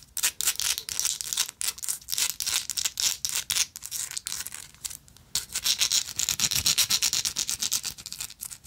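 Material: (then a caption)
Metal. Long acrylic nails scratch and tap a small, hollow, rectangular gold-plated metal lighter with an engraved texture. Fast, uneven bursts of bright, dry scratching and clicking come at roughly four per second, with a brief quieter pause near the five-second mark before the scratching resumes more densely.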